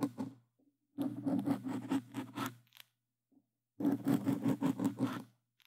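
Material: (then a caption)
Foam. Plastic claw tips on gloves scratch quickly over a black foam microphone windscreen. Short bursts of dense, rapid rasping come in three runs separated by pauses. The close, muffled scratching is full in the low-mids with a bright, airy hiss on top.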